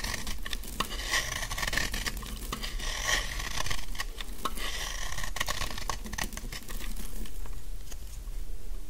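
A large, dry, solid pink bar of soap held in the hand is shaved with a utility knife blade into fine curls. Many quick, crisp scraping strokes and light crackles follow one another, with a thin high-pitched edge over a low background rumble.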